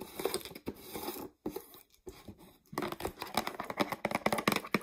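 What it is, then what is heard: Mostly empty plastic jar, tapped and scratched with nails. Long nails tap and scratch the sides and label of a mostly empty clear plastic peanut jar. The result is a quick, dry run of crinkly scraping and light clicks, with a short quiet pause before the tapping grows denser and sharper.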